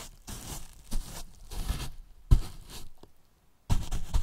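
Two fluffy make-up brushes brush and rub the top and sides of a large, hollow white polyethylene foam box with a microphone hidden inside. The result is soft, irregular swishing and scraping strokes with deep, boomy thumps from the hollow box and a faint bright hiss.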